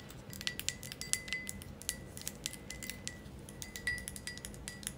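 A thick green glass ashtray is held close while long nails tap its sides, producing many quick, bright clinks. The taps are short and dry, with a faint ringing tone near 2 kHz and a soft low hum underneath.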